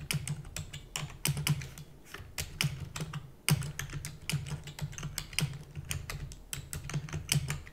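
Fingertips and long natural nails type rapidly on a full-size black plastic computer keyboard with plastic keys and a hollow housing. Dense, uneven bursts of sharp, bright clicks and clacks overlap, and a steady low hum runs underneath.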